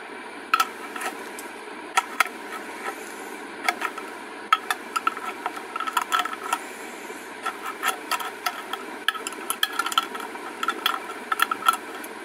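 Long acrylic nails tap and scratch a small, clear glass cosmetic jar with a white label, which appears filled and is held close. Sharp, bright clicks come in irregular bursts with a short glassy ping around 1.3 kHz, over soft scratching and a faint steady hiss with no low end.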